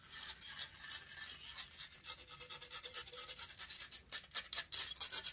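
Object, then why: Metal mesh microphone grille. Long nails scratch and rub across the hollow metal mesh grille of a silver condenser microphone held close. It makes a steady run of bright, raspy scratching strokes with almost no low end. The strokes turn quicker and louder toward the end.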